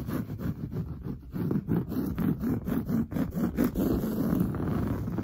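Long blue nails scratch fast and hard across padded, grey-brown textured woven fabric sofa upholstery. The result is a rapid, uneven run of rough, scratchy rasps with a low rumbling body and brief bright edges.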